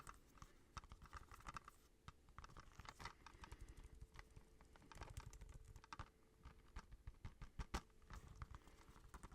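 Fingertips tap quickly and unevenly on a plastic Kiki's Delivery Service movie case, giving a dense run of dry, short clicks and soft knocks. The taps are mostly low and muffled, with brief sharp ticks and almost no ring after each hit.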